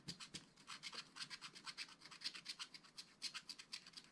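A wooden stylus scratches hatching lines into the black-coated card of a flat, spiral-bound scratch-art pad, revealing the colored layer underneath. About 28 quick, separate strokes sound as quiet, bright, dry scratches with a high hiss and almost no low end. Each stroke stops abruptly.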